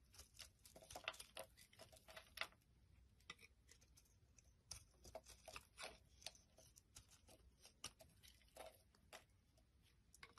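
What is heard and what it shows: A solid white soap bar held in the hand is shaved and scraped with a metal utility knife blade, and the flakes fall onto a wooden surface. It makes a quiet run of quick, bright, crackly scrapes and soft ticks with very short decay, bunched in bursts with brief pauses between them.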